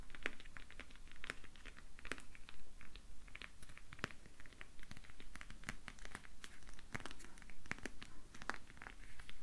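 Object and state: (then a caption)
Whole grapefruit. Long painted fingernails tap and scratch the thick orange peel of a whole, uncut, round grapefruit, about hand-sized and solid, held up in both hands. A steady stream of quick, dry clicks and scratchy crinkles comes through, bright and sharp with almost no ring, over a low, quiet background rumble.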